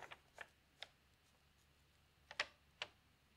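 A hand slowly lifts and turns a large, thin newsprint page of an open paper newspaper lying on a table. Brief, crisp, bright crinkling rustles come in scattered bursts with quiet gaps, the loudest near the end, over a faint steady background.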